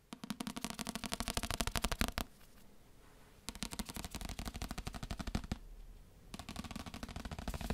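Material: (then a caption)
Paper. A paper book is tapped with quick, dry taps in three rapid bursts, separated by two short quiet pauses. Each tap is a short, muffled thump with a crisp click on top and almost no ring.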